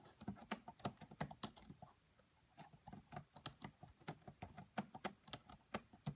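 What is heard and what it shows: Fingertips and long nails type and tap on the black plastic chiclet keys of a red laptop. A quiet stream of short, sharp clicks with bright ticks breaks off briefly around two seconds in, then resumes.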